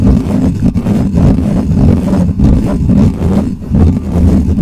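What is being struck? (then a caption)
Metal mesh microphone grille. Fingertips of one hand scratch fast across the top of the bare metal mesh grille on a hollow black microphone. The result is a loud, continuous, booming rumble concentrated in the low end, with gritty scraping texture and a few brief dips as the strokes change.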